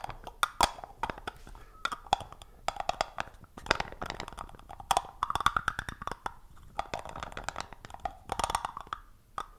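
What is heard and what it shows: Fingertips and short nails tap and twist the screw lid of a small, round, hollow black plastic cosmetic-type jar held close to the microphone. Rapid, dry, hollow clicks and taps centered in the midrange are heard, with almost no ring. Softer scraping, grinding sounds of the lid turning run between the bursts of taps.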